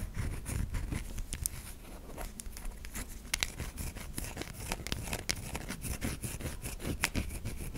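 Long nails scrape across the flat and curved surfaces of a white solid soap bar, making dense, dry scratching with many short, bright clicks and ticks over a low rumble. The strokes come in quick, uneven bursts throughout, with no ringing after each one.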